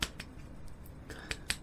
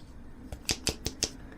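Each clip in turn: First: A few crisp, isolated clicks and no rattle: the flashlight's batteries are held tight when shaken. Second: Five quick, bright clicks from a shaken aluminium flashlight: its batteries are loose and knock inside the case.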